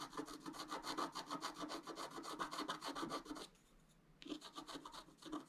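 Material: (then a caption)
Coated paper. A thin wooden stylus scratches the black coating of a flat scratch art paper board lying on a table, working on the antler area in short, quick strokes. Rapid dry rasping scrapes repeat steadily with a bright, papery edge. They pause briefly near the end before resuming.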